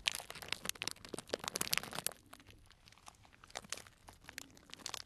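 Fingers squeeze and crinkle a small tied, clear plastic cellophane bag full of dried tea pieces. Bright, dense crackling and crunching fills the first two seconds, then softens to sparse rustles before picking up again in quick, crisp bursts.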